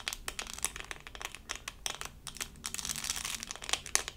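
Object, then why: Resin rhinestone sticker on plastic backing. A small, flat, doll-shaped diamond-painting sticker, solid and thin and covered in resin rhinestones on a plastic backing, is held in both hands and scratched with long acrylic nails. The result is a dense run of bright, crinkly scratches and quick, dry ticks that stop almost instantly, with little low end.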